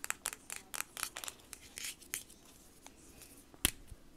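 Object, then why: Small hollow plastic marker pen. A small, hollow white plastic Sharpie S-Note highlighter with a teal cap is tapped with long nails and fingertips. About eleven sharp, bright clicks come in a quick uneven series, with brief scratchy, crinkly scrapes between them. A final louder tap comes near the end.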